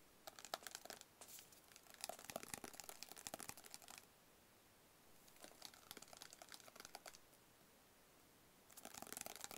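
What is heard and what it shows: Fingertips and nails tap quickly on a small, hollow, rigid black cardboard box held close. Bright, crisp clicks with a papery, crinkly edge come in three bursts: a long run, a shorter one after a pause, and a brief flurry at the end, separated by near-silence.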